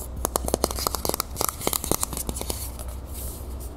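Long nails rapidly tap and scratch the body of a medium, hollow, copper-colored Vaseline metal aerosol spray can held upright. The result is a quick series of sharp, dry clicks with bright scratchy texture and almost no ring, over a steady low hum.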